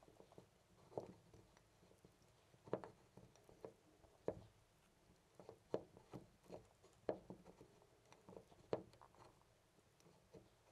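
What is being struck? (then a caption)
Brass-finish metal door knob. A loose brass-finish metal door knob on a white panel door is gripped by hand and jiggled so it rattles. Soft, irregular metallic clicks and taps with a midrange ring near 600 Hz sound over quiet background hiss. Each rattle dies away almost instantly.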